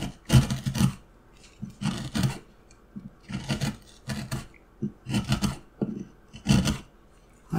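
A steel carving knife scrapes and cuts into a solid light wooden block carrying a paper pattern. Short rasping strokes come in uneven bursts, each with a woody low body and a bright, gritty edge, separated by near-silent pauses.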